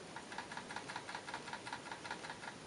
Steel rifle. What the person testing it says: You shouldn't be able to shake your gun and hear a whole lot of rattling